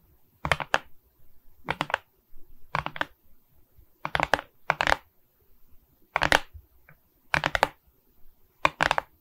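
Long nails tap on the resin bead surface of a beaded rhinestone diamond painting on a wooden frame, making short bursts of quick, crisp clicks. Each tap is dry and bright with almost no ring, and quiet pauses fall between the bursts.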